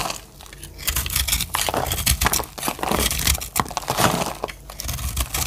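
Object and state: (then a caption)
Dry soap bar being carved. A solid, oval, blue-green speckled dry soap bar is held in the hand and carved with a metal blade, giving a rapid run of crisp, crunchy scraping and crackling bursts with a dull low thump beneath. Crunchy flakes fall onto a pile, and each short, dry cut stops almost at once.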